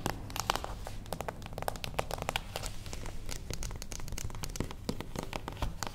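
A closed, small beige cardboard gift box stands on its long edge on a wooden table while long acrylic nails of both hands tap rapidly along its top edge. The result is a dense, steady stream of short, dry, crisp clicks with a papery crinkle, each dying away almost instantly over a soft low rumble.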